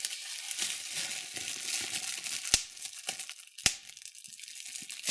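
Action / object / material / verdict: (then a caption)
scrape / plastic bubble wrap / plastic / none. Clear plastic bubble wrap is held in both hands while fingers squeeze and pop the bubbles. A steady, bright crinkling runs through the clip, broken by two sharp, loud pops that stand out above it, with smaller crackles in between.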